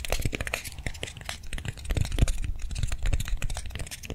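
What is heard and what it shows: Long nails tap and scratch quickly across the surface of a hand-sized soft foam swirl lollipop toy held in the hands. The result is a dense run of soft, dull, low thuds mixed with dry crinkly scratching, each tap dying away almost at once.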